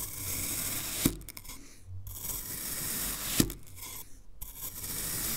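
A black knife blade, held by hand, cuts down through a solid, hand-sized green kinetic sand fish mold and drags through the sand. Two sharp, crunchy cuts land about two seconds apart, each followed by a soft, gritty scraping drag and a brief hush. A steady bright hiss runs underneath throughout.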